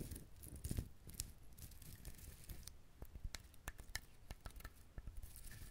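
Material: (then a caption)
Coconut shell. Fingernails scratch the shell of a whole brown husked coconut held close to the recorder. Soft, dry scratching and rustling carries a close, low rumble, broken by short, sharp clicks with bright edges that die away almost instantly.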